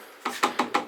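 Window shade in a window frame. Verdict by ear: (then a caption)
Loose. A day/night window shade installed in a bus window frame is tapped against the frame, giving four short, sharp rattling knocks with a hollow, clacking tone. The loose shade bangs and rattles rather than sitting firmly in place, a fault that could be damped with double-sided velcro or felt pads.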